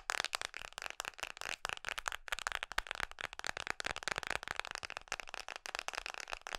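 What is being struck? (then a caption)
Hard plastic phone case on a smartphone. Long nails tap fast on the back of a red Mickey-print hard plastic case fitted on an iPhone. The result is a dense run of sharp, clicky plastic taps that stop quickly, with a bright crackling edge and almost no low end.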